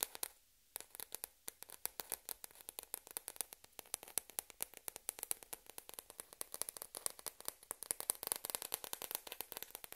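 A small hollow white plastic table tennis ball, held up between both hands, is tapped and scratched by long red-painted fingernails while other balls rest still on a black cloth table. After a brief silence, dozens of quick, quiet, bright clicks and scratchy ticks follow in an uneven stream. Each one stops almost instantly, with no ring or low body.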